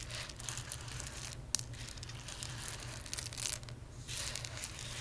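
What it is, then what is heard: Roasted coffee beans. Fingertips and nails rub and scratch through a loose pile of small, hard, dry whole roasted coffee beans on a dark surface and pick some of them up. The result is a bright, crinkly rustle broken by sharp little clicks, over a steady low hum.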